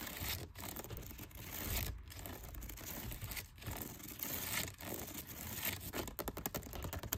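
Fingernails scratch and tap the outer side of a dark brown plastic storage basket with a woven-look pattern that holds towels and other items. A dense, crackly scratching runs through most of the clip, broken by brief pauses. It ends in a quick run of sharp, short taps.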